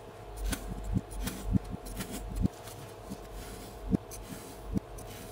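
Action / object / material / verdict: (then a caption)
scrape / kinetic sand mound cut with a wooden spatula / kinetic sand / none. A flat wooden spatula slices and scrapes through a solid round mound of blue kinetic sand resting on a red cutting board. Seven soft, dull cuts stand out over a low, grainy scraping and rubbing, each with a brief bright crunch that dies away at once. A faint steady hum runs underneath throughout.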